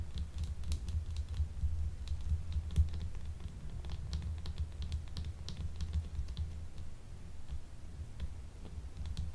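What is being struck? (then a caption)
Solid bar of soap. A small, solid, translucent blue gemstone soap bar is held in both hands and tapped on its faces with long nails. Quick, irregular, light clicking taps with bright, crisp tips keep coming over a steady low rumble.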